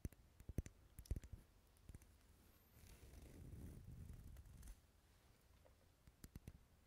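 Wax candles sitting in a bowl as decoration, rarely lit, are tapped, giving sharp, dense, irregular clicks. Soft, low scraping and rustling fill the middle of the clip before the clicks return.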